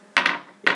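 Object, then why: Piece of slate rock on a tabletop. A piece of slate, a metamorphosed shale, is dropped onto a table. It lands with three short, sharp knocks: a first impact, a quick bounce, and a final strike a moment later, each with a bright mid-high click and almost no ring. Here it gives no clinkier "tink" than shale's usual thud.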